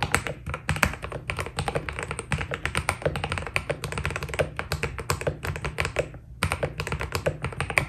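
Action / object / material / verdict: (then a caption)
tap / mechanical keyboard with plastic keycaps / PBT plastic / none. A white Keydous NJ80 mechanical keyboard with PBT plastic keycaps is typed on continuously with the fingertips of both hands. Rapid, crisp clacks with very short decay blend into a dense, steady patter over a constant low-end rumble, pausing briefly around the six-second mark before resuming.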